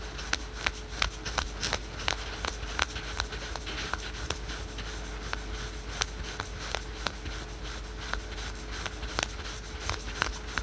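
Fingertips and nails scratch fast over patterned spandex/polyester yoga pants worn on the thigh. Quick, bright scratchy swipes over a steady, low hum make up a continuous rustling texture. Sharp clicky accents recur irregularly, about three per second.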